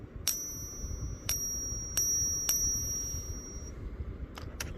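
A 40 percent silver Kennedy half dollar is flicked several times, each flick giving a bright, high-pitched ping with a thin metallic ring that hangs on for a moment over a low background hiss. A quicker run of lighter flicks follows near the end. The ping is meant to show how it sounds different from 90 percent silver coins.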